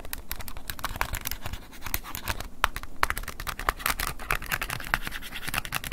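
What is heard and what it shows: A wooden ear pick scratches and taps the plastic keypad buttons of an open silver flip phone held in a hand. Dense, dry clicking and scratchy scraping make a fast run of sharp ticks, bright and centered around 1 kHz, over a low steady rumble. The ticks die away instantly, with a brief lull just before the third second.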